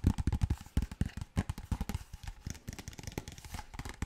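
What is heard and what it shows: Fingertips and nails tap rapidly on a large, clear PET plastic water bottle that appears empty. About two dozen quick, dull, hollow thumps with a low body and very short decay, mixed with softer clicks of the nails, sound in an uneven rhythm.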